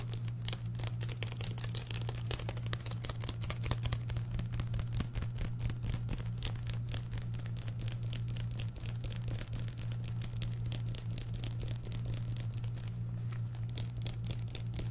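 Fingertips and nails tap and scratch quickly on the paper cover of an orange paperback book, a solid paper block. The result is a dense, continuous stream of crisp, dry clicks and bright scratchy rasps over a steady low hum around 100 Hz, holding at an even level for the whole clip.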